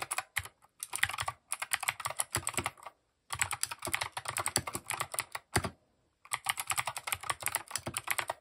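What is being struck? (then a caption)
Mechanical keyboard with plastic keycaps. A compact mechanical keyboard with cream, grey and orange plastic keycaps and RGB underglow is typed on rapidly with the fingertips. Bursts of quick, bright, crisp clacks run on for several seconds at a time, broken by short silent pauses, with each keystroke dying away almost instantly.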